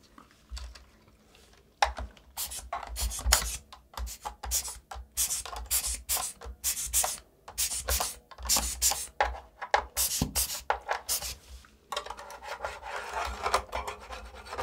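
A gloved hand scrubs a plastic mechanical keyboard that has its keycaps removed, working a blue brush across the exposed switches and plate beside a blue LED strip. Bursts of bright, dry bristle scraping and rubbing come in quick strokes with short pauses. Near the end they turn into a steadier, softer brushing.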